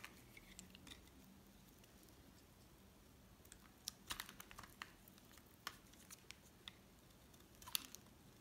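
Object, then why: Soap bar cut with a metal blade. A solid cream oval bar of soap, held in the hand beside a pile of flakes, is shaved with a metal utility knife blade. Faint scraping gives way to sharp, bright scratching cuts with short crackly bursts over a quiet background.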